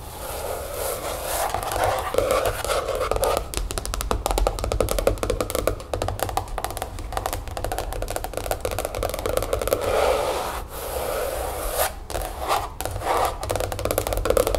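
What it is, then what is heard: Plastic planner cover tapped and scratched. Long coral-painted nails tap and scratch across the translucent gray-patterned plastic cover of a large spiral-bound weekly/monthly planner lying flat on a wooden table. The result is a dense, continuous run of quick, dry clicks and scrapes with a slight plasticky ring around 490 Hz, holding a fairly steady level throughout.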